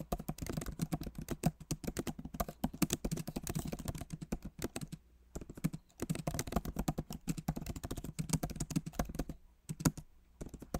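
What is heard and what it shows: Rapid typing with both hands' fingertips on a backlit MacBook Pro Magic Keyboard with plastic keycaps set in an aluminum body. The result is a dense stream of short, dry, low-pitched taps and clicks, broken by a few brief pauses.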